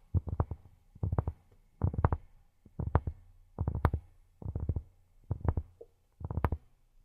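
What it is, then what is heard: Cork tapped with silicone fingertip pads. Cork is tapped with silicone rubber pads on the fingertips, giving soft, dull, low thuds with almost no ring. The taps come in quick rolling bursts of several strikes each, about eight bursts across the clip with short pauses between them.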